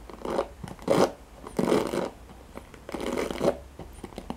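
Fingertips and nails scratch and strum along the nylon pin bristles of a handheld black plastic paddle hairbrush. Several longer rasping, scratchy strokes swell and fade, with short dry ticks and flicks in between over a faint steady low hum.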